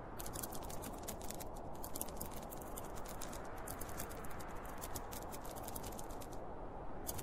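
Fingertips and nails scratch and tap across the top and front panel of a closed, hollow, zippered school pencil case made of polyester fabric with a printed cartoon panel. A steady, dense fabric scratching fills the low range while quick, bright tapping clicks patter continuously over it for about seven seconds.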